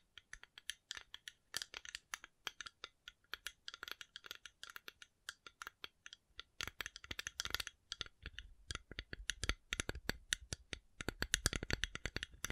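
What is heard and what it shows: A coconut shell is tapped in a rapid, uneven series of short, dry clicks that are bright and woody with almost no ring. Some stretches bring heavier taps with a low thump beneath the clicks, and the tapping stays quiet and steady throughout.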